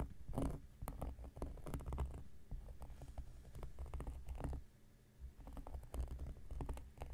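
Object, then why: Cork coaster. A round, flat, solid cork coaster, held flat on a black surface by one hand, is scratched with the metal blade tip of an X-Acto knife. Quiet, dry scratching comes in quick, irregular bursts of short scrapes and taps over a low, dull rumble. The scratching eases briefly near the five-second mark before picking up again.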